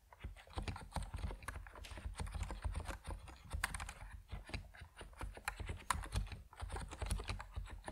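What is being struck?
Mechanical keyboard with plastic keycaps.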